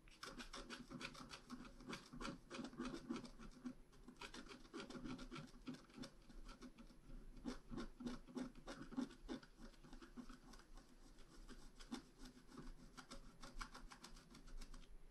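A pointed wooden stylus makes repeated short scratches across a flat, black-coated scratch art card about A4 in size. The result is a quiet, steady series of dry, rasping strokes at an uneven, quick pace, with a soft low-mid body and a bright, gritty edge that stops almost instantly after each stroke.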